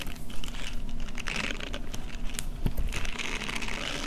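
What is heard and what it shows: A small pink silicone face-scrubbing pad with soft bristles and a hand strap is held and bent close up while fingertips and long painted nails scratch and squish its bristles. The result is a steady stream of soft, crinkly scratching and squishing with a muffled low rumble underneath and brief bright flicks of texture.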